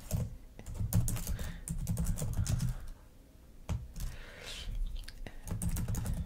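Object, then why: Plastic laptop keyboard keys. Long acrylic nails and fingertips type and tap on the plastic keys and touchpad of a black laptop resting on a fur rug. The result is a dense run of quick, clicky taps with a soft, low thump, plus a few sharper bright clicks. The tapping briefly quiets just before the midpoint, then picks back up.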